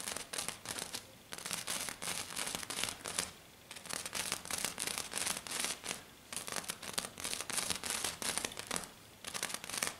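Long dark-painted nails on both hands scratch and tap fast on a flat silver glitter sheet, probably glitter foam, lying on a table. The result is dense, bright, crinkly scratching and rapid clicking taps in bursts, with brief quieter pauses between them.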